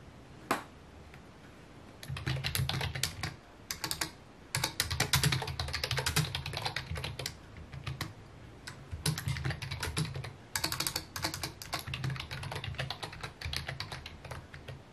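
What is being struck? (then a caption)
Plastic computer keyboard. A full-size white/mint plastic computer keyboard with a hollow housing, resting on a wooden desk, is typed on with the fingertips in rapid key taps. After a single sharp click, bursts of fast, clacky typing come in with short pauses between them. Each tap carries a hollow low thump under bright, short clicks that die away almost instantly.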